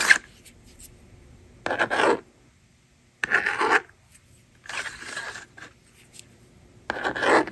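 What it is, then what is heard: Plastic magnetic drawing board. A yellow plastic stylus scratches and writes on the honeycomb screen of a hand-held blue and pink plastic magnetic drawing board. Five separate bursts of dry, raspy scraping come through, with quiet pauses between strokes and a bright, thin texture centered in the upper mids.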